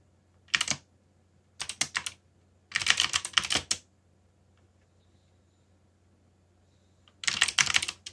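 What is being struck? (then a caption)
Plastic mechanical keyboard. Fingertips type on a backlit mechanical keyboard with black plastic keycaps, producing four short bursts of bright, rapid, clicky keystrokes separated by quiet pauses. Each click is crisp and high with almost no ring.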